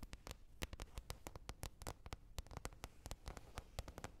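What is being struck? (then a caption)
Lid. A lid is tapped repeatedly with quick, light, uneven taps. Each tap is short and dry with almost no ring, giving a soft low thud with a brief bright click on top. The result is a steady, busy patter of taps over quiet background hiss.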